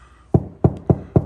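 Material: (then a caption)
Drywall. Four knocks on a wall, tested before drilling to install an EV wall charger, each a short low-pitched thud centered around 130 Hz that dies away almost at once. The spot sounds hollow, meaning there is no stud behind it.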